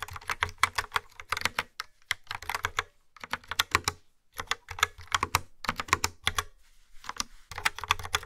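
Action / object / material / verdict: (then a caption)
tap / plastic keyboard with round keycaps / plastic / none. A yellow-framed plastic wireless keyboard with dark brown, round, typewriter-style keycaps sits on a wooden table and is typed on quickly with long nails and fingertips. Bursts of fast, sharp, bright clicks rattle with a hollow plastic tone and almost no ring, separated by brief pauses.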